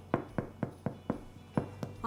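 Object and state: Baked bread loaf, sounds hollow (done).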